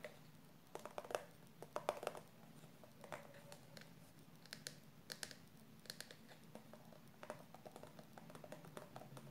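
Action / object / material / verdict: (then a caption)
tap / soft plastic cosmetic tube filled with conditioner / soft plastic / none. Long purple nails tap and scratch the printed surface of a yellow and pink soft plastic squeeze tube of hair conditioner, a post-coloring finisher filled with product. Quick, dry clicking taps come in loose clusters, with faint scratchy rustling between them. A low, steady hum runs underneath.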